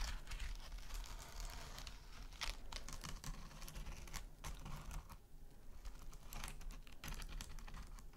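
Long nails scratch and tap a small, flat, rectangular scrub sponge with a gold metallic mesh covering over a soft filling. The result is a steady stream of quiet, crinkly scratches and rapid clicky taps with bright, papery edges over a low, constant hum.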